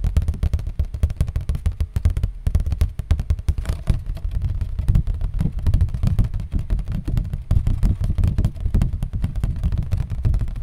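Cardboard is tapped continuously, sometimes slowly and sometimes fast, making a stream of dull, low thuds with almost no high or bright content. The taps are closely packed with very short decay, so they blur into an uneven, rumbling patter that rises and falls in loudness.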